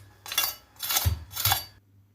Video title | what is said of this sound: كنتاكي في البيت 🍗😋 احلي ١٠٠ مره من المطاعم جربوا التوابل دي ومش هتغيروها أبدا | اسمعوا بقى صوت القرمشة الجميل ده